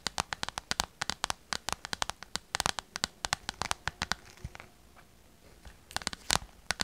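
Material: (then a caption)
Vinyl. A small, hollow, clear PVC/vinyl pouch filled with glitter and stars is held in both hands and tapped and scratched with long purple nails. Rapid, sharp, bright clicking taps come in a steady stream for about four seconds, then fade to a softer crinkly scratching. A final burst of crisp taps follows near the end.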